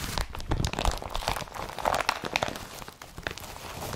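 Fingers crumple a blue woven polypropylene IKEA BRATTBY carrier bag and grip and rub its strap. The result is a steady run of crisp crinkling and crunching rustles, with bright crackles over soft low thumps, each sharp and dry with no ring.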